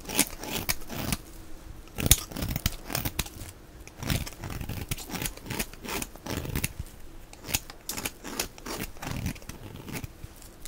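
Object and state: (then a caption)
Dry bar soap being shaved. A palm-sized, solid, white oval bar of dry soap with a blue outer layer and a ridged flower-pattern top is held in the hand while a knife blade shaves and scrapes it. The result is a steady run of short, dry, crunchy scraping and tearing strokes with bright, crisp edges and no ring after each cut.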